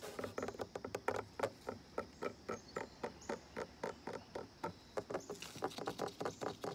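Fingertips and nails tap rapidly on the top of a solid, weathered, brown-painted wooden ledge at the base of a deck railing. About 30 short, dry knocks with a mid-pitched tone come in an uneven, fast rhythm, each dying away almost at once. A faint, steady high hiss runs underneath.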